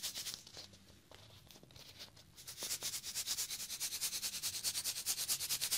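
Fingers scratch and rub a small cardboard Pringles tube with its lid off, working over the can and its foil top. Soft, bright, papery scraping starts quietly, then grows into louder, steady rhythmic strokes at about two per second.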